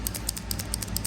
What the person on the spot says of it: the little bead rolling around in there